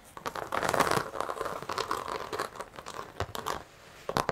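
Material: Carpet fibre.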